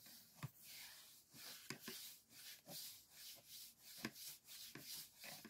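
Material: Paper, bamboo.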